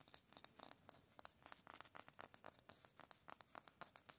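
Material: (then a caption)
Concrete. Fingertips and nails scratch fast and tap on a solid grey concrete cinder block wall with a rough surface, while an open hand rubs the block face. About two dozen quick, dry, bright scratches and taps come in an uneven, rapid run, each gritty burst cut off almost instantly with no ring.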